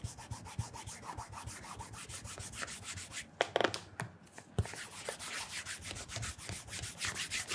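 A cloth wrapped around the fingertips rubs and polishes the upper near the heel of a black polished leather Edward Green penny loafer, a hollow shoe fitted with a wooden shoe tree and held on its side. Quick, bright swishing strokes repeat steadily, break briefly in the middle with a few sharper scuffs and a short quiet gap, then resume at the same brisk pace.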